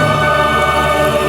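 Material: Nothing is struck.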